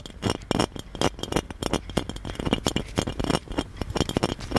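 Fingertips and nails tap and scratch the embossed relief surface of a hollow gold metal genie lamp. It makes a quick run of bright, clicky metallic taps mixed with dry scratching rasps, each tap dying away almost at once over a faint low hollow body.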